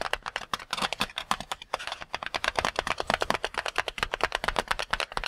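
Fingertips quickly tap and pat a single full, palm-sized red-and-white latex rubber water balloon. About forty short, dry, crisp taps follow in a rapid, uneven stream, each bright and snappy with almost no low end. Every tap dies away almost instantly.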